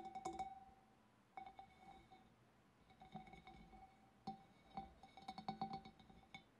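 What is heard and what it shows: Long black nails tap on the sides of a large, hollow, empty clear glass fish bowl, then on its wavy rim. A quiet run of light, uneven taps gives bright glassy clinks with a ringing tone near 780 Hz that fades quickly after each tap.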